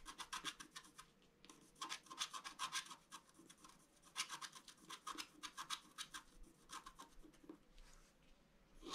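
A bamboo stylus scratches lines into the waxy black surface of a flat scratch art card made of black wax-coated paper. Quick, dry, bright scraping strokes come in rapid clusters separated by brief quieter pauses. The sound is soft and crisp, with almost no low end and no ringing after each stroke.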